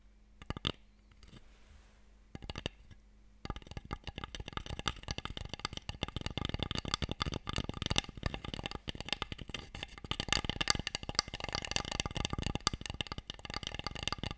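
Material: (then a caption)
Wood. Fingertips and long nails tap the sides of a small, long, light wooden Mikado box, its hollow tray part held open in both hands and apparently empty. A few sparse taps give way to a dense, continuous run of quick, dry, bright clicks with almost no ring.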